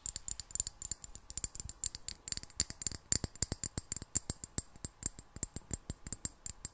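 A clear, hollow glass jar with a metal screw lid, partly filled with water, is tapped with long black nails in a quick, uneven run of sharp clicks. Each tap is bright and high-pitched with almost no ring, and the taps crowd closely together across the whole clip.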